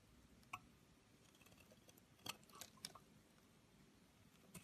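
A solid pink Camay bar soap held in the hand has its side shaved and cut with a metal knife, and brittle pink flakes pile up below. Sharp, bright crackling snaps and scrapes stand out against a quiet, steady hiss, each dying away almost instantly.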